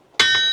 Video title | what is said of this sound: GOLDRUSH TOWN, one guys private wild west!!!! | a good Anvil Rings hear that true if it goes thud or bang boom like that it's not much good